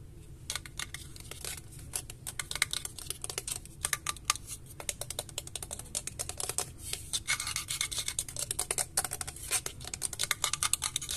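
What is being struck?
Painted metal graphics card backplate.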